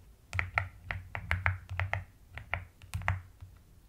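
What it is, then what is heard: Plastic mechanical keyboard. Long-nailed fingers type quickly on pastel purple and white plastic keycaps of a white-cased mechanical keyboard. Thirteen short, crisp clacks each pair a bright click with a deep, rounded thock, and every keystroke dies away almost instantly.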